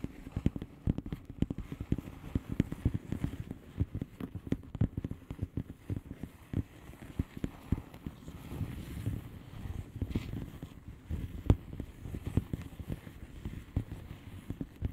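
A blue plastic bubble-wrap mailer lies flat while long painted nails on both hands tap and scratch across its bubbles. The result is a steady stream of soft, short, dull taps with a low, muffled body and quick decays, mixed with faint crinkly scratching.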